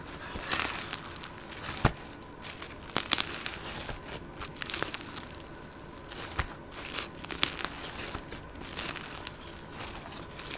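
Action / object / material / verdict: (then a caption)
scrape / glitter slime / slime / none. Green and purple glitter slime, a soft, solid green speckled slime, is pinched and squeezed by fingertips and long gold nails. It gives off bright, crinkly crackles and small sharp pops in uneven bursts over a quiet hiss, with little low end.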